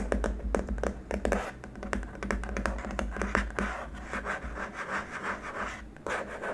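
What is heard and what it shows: Short nails tap and scratch across a long, flat, white hard-plastic keyboard wrist rest, one hand moving along its right side. A quick, uneven run of sharp clicky taps mixes with dry scraping strokes over a steady low hum.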